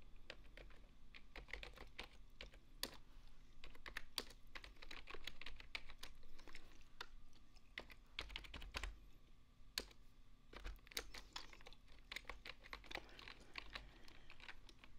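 A full-size beige plastic desktop keyboard is typed on with fingertips, mixed with single-finger key presses. Quiet, sharp clicks land in quick irregular runs and isolated taps, each dying away almost instantly. A steady low hum sits underneath throughout.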